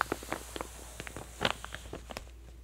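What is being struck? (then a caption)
Glossy paper catalog. An open glossy paper J. Jill women's clothing catalog is held still at one spread by both hands while long manicured nails squeeze and press the lower page edges. About nine short, sharp paper crinkles and clicks are heard, with the loudest near the middle. They fade to a quiet background hum by the end.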